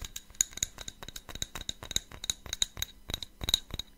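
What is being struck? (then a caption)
Cut-glass tumbler. A small, hollow, empty cut-glass tumbler with a faceted pattern, held in the hands close to the mic, is tapped and scratched with fingernails. Quick, bright clicks and scrapes follow one another in an uneven rhythm, each dying away almost at once, with very little low end.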